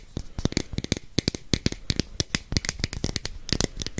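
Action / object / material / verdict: tap / plastic capsule container / plastic / none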